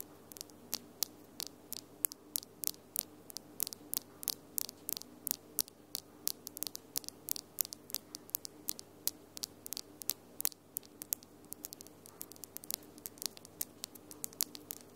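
Long glitter acrylic nails are tapped together by the nail tips of the other hand, producing dozens of sharp, bright clicks that stop almost instantly. The taps come in an irregular, quickening stream over a faint steady hum.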